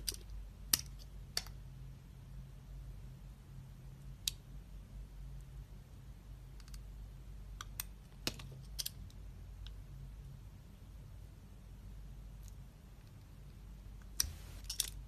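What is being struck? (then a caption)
Glycerin soap bar cut with a knife blade. A utility-knife blade scores and slices into the surface of a palm-sized, solid, translucent red glycerin soap bar with an embossed logo, held on an open palm. Sharp, bright, crisp clicks and short scraping ticks come at scattered intervals over a steady low hum, with a denser burst of cuts near the end.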